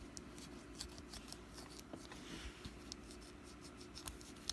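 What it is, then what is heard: Wax pumpkin candle. Long black nails tap and scratch a small solid orange wax pumpkin candle, partly held in the hand. Soft scattered clicks and brief bright ticks sit over a quiet, steady low hum, with a gentle scratching rustle in the middle.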